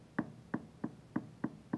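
Mounted dental stone casts in an articulator are tapped together six times after occlusal adjustment, giving short, dry, clicking knocks with almost no ring. The contact sounds solid rather than hollow, showing uniform contact of the teeth in centric relation.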